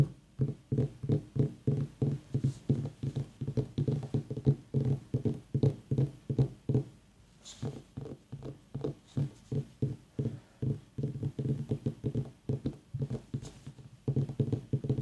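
Long nails and fingertips tap rapidly on the sides of a small, whole, white, ribbed mini pumpkin, a hollow gourd, while an aroma diffuser mists nearby. Each tap gives a short, dull, low knock with a hollow tone that dies away almost at once. The taps come in quick, uneven runs, with a brief quieter stretch in the middle.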